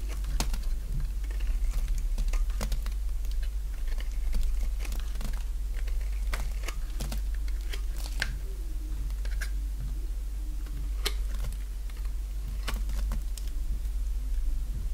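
A small, solid white bar of dry soap is held in one hand and shaved with a utility-knife blade held in the other, curling flakes off as the blade scrapes along the bar. Quick, crisp scraping and crackling ticks repeat irregularly throughout, over a steady low hum.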